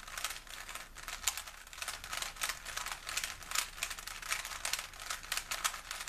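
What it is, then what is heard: Plastic puzzle cube being twisted. A small, solid plastic 3x3 Rubik's cube is held in both hands while the fingertips twist its layers. This produces rapid, dense, bright plastic clicks and rattles, with almost no low end. The clicks come in quick uneven bursts throughout.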